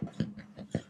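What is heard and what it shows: A freshly baked Devonshire split bun, made from enriched bread dough, is tapped on its bottom to check doneness. The taps give short, dull, low thuds centred around 160 Hz that die away almost instantly. The bun sounds hollow, meaning it is baked through.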